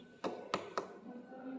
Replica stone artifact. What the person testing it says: agak kopong sih woi